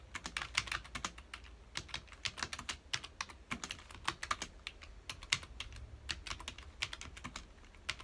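Fingertips of both hands rapidly press the keys of a full-size black plastic computer keyboard resting on a dark desk. A fast, uneven stream of short, bright plastic clicks and taps follows, each dying away almost instantly over a faint low hum.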